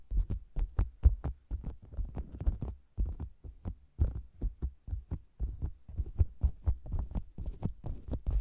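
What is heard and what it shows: Fingertips and long nails tap and scratch the sides of a round, hollow faux leather cosmetics bag with the mic inside. The result is a steady run of deep, muffled, boomy thumps, about two per second but irregular, each dying away at once, with faint brighter nail clicks and scratches on top.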